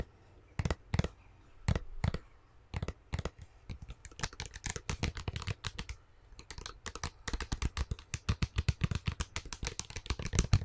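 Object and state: Plastic slime tub.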